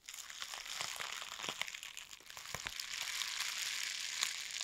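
A long roll of clear plastic bubble wrap is held in both hands and squeezed, rubbed and crinkled with fingers and nails. The result is a dense, bright crinkling and crackling with scattered sharp snaps and pops throughout.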